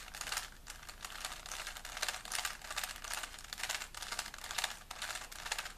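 A small, solid plastic 3x3 Rubik's cube is held in both hands while fingertips rapidly twist its layers. A dense, continuous run of bright plastic clicking and rubbing rises and falls in short bursts, with very little low end.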